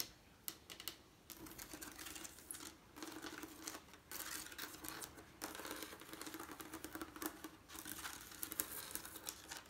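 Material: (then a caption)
Glass. Fingernails tap and scratch across the colored diamond-shaped glass panes and lead strips of a leaded stained glass window. The sound is a quiet stream of crisp, bright clicks and scratchy rustling with a faint steady tone near 300 Hz. It comes in short bursts separated by brief pauses.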